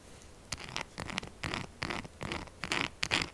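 Long acrylic nails scratch fast over a solid purple soap bar with a scale-textured surface, held upright. Quick, uneven bursts of dry, bright, rasping scratches follow one another with brief gaps, each dying away almost at once, with little low end.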